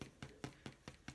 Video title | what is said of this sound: Jalapeno Cheddar Challah Bread | You can tap it, and you see it has a hollow sound